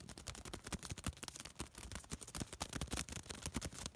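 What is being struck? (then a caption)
Thin paper piece. A small crumpled piece of thin white paper is folded and crinkled between fingertips. Rapid, dense crackles and snaps come in quick bursts across the clip, each very short with a bright, papery edge over a soft low rustle.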